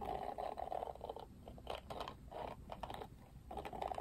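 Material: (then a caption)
Plastic. Fingertips strum the thin plastic bristles of a Barbie Wet Brush, a plastic detangling hairbrush with a pink and grey plastic frame. The result is quiet, rapid, dry flicking and scratchy plucking in bursts, with a midrange tone around 740 Hz and brief pauses between strums.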